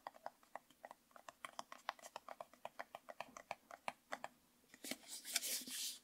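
Fingernails tap and scratch a hollow, medium orange plastic jar with a yellow label and an orange screw lid, held in both hands. About two dozen quick, bright clicks come in a steady patter, then a brief pause. The clip ends in a louder, hissy burst of scratching.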